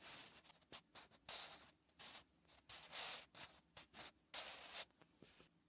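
A wooden pencil scratches and rubs across a textured lined paper notebook page while writing. Quiet, bright, irregular strokes of dry scratching come in short bursts with soft pauses between them, and there is almost no low end.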